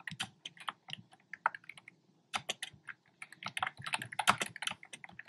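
Fingertips with short nails type on a black plastic keyboard with hollow, round retro-style plastic keycaps in cream, pink and red. A rapid run of bright, hollow clacky key taps pauses briefly midway, then resumes in a denser burst.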